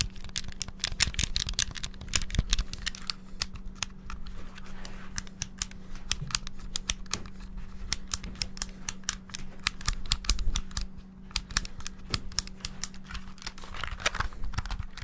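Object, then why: Hollow plastic handheld game console. Fingertips rapidly press the buttons of a small, hollow, clear transparent plastic Game Boy handheld with a red cartridge, held close to the mic. A fast, uneven stream of sharp, bright plastic clicks and taps runs throughout, each dying away almost instantly. A steady low hum sits underneath.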